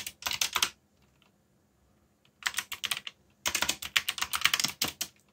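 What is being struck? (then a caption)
Plastic mechanical keyboard keys. Fingertips tap the keys of a backlit black plastic mechanical keyboard while typing, in three bursts of quick, bright, dry clicks with short silences between them. The clicks are crisp and stop instantly, with almost no low end; the last burst is the longest and densest.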